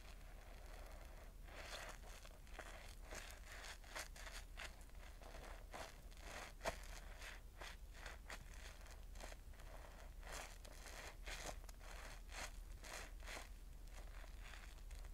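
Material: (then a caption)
Cellulose sponge. A wet, yellow, porous cellulose sponge full of foam is squeezed and rubbed by fingertips above a bowl. It makes quiet, foamy crackling and squelching bursts, with one sharper click in the middle, over a steady low hum.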